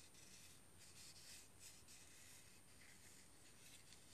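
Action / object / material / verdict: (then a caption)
scrape / dried cinnamon bark stick / bark / none. A small, solid, rolled stick of whole dried cinnamon bark is held over a mug while fingers and nails rub and scratch along its rough surface. The result is a steady, quiet, dry scratching hiss, bright and airy on top with a soft low rumble underneath.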